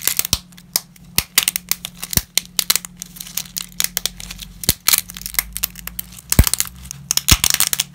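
Gloved fingers snap dry lasagna shards over a dense layer of broken pasta. A rapid series of sharp, bright cracks and crinkly crackles rings out, each dying away almost instantly over a faint low hum.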